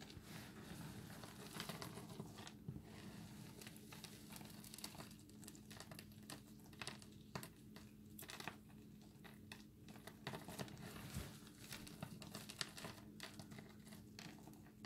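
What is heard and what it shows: Bare fingertips and hands grab handfuls from a large pile of small, hard, dry multicolored recycled soap chips on a dark granite counter, rub them and let them fall back onto the pile. The result is a dense, dry crackling and crumbly rustling with bright, short clicks as the chips spill. A steady low hum sits underneath.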